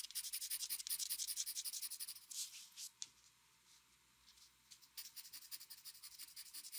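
A metal mechanical pencil draws quick strokes across the upper part of a flat white drawing paper sheet resting on a desk. It makes a rapid, bright, dry scratching with almost nothing in the low end. The strokes run steadily, fade to near silence for about two seconds in the middle, then resume at the same brisk pace.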